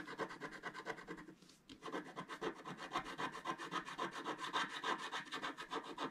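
A wooden stylus held in the fingertips scratches the black coating off the top of a thin scratch-art paper card lying flat on a table, while the other hand holds the card steady. Quick, dry rasping strokes repeat at about three to four per second, with a brief pause near the 1.5-second mark. The scratching has a bright, papery texture centred around 1 kHz.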